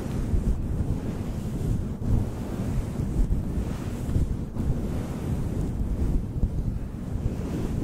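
Fingertips of both hands brush and squeeze a fluffy faux fur windscreen around the capsule of a desktop microphone. This produces a continuous, deep, rumbling rustle that sounds like wind or surf, concentrated in the low end with almost no high content. It swells and dips slightly throughout.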